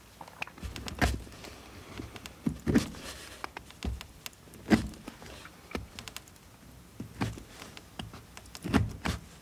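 A steel knife scrapes and carves a solid blue bar of soap held in the hand. Soft, irregular scraping runs throughout, broken by louder crisp cuts with a dull low thump and a bright edge. Each cut stops short, with almost no ring.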